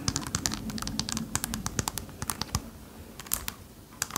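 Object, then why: Mirror-glass tiled disco ball. Long painted nails tap and scratch across the small square mirror-glass tiles of a small hanging disco ball, held up by its chain over a likely hollow or lightweight core. About two dozen quick, sharp, bright clicks with almost no ring stand out over a soft, scratchy rustle, pausing briefly near the end before a few final taps.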